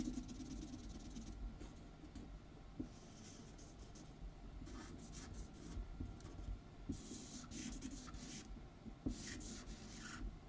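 A pink felt-tip alcohol marker rubs back and forth across a white paper sheet lying flat on a wooden table, coloring in large outlined letters while the other hand holds the sheet still. Quiet, scratchy strokes come in bursts of bright hiss over a steady low rumble, with a few faint taps between passes.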